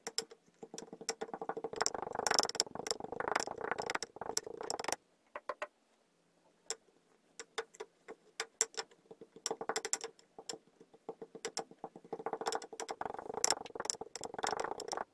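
A pink wooden muddler presses new purple and white layers of kinetic sand down inside a clear glass tumbler. Dense, bright crackling and soft squishing taps come in bursts, fall nearly silent for about a second, then pick up again.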